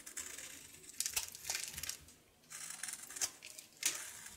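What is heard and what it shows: A solid painted soap bar is held in the hand and shaved with a knife, revealing the blue soap underneath. Dry, crisp scraping strokes come in short bursts with sharp accents, almost entirely bright and high-pitched with very little low end.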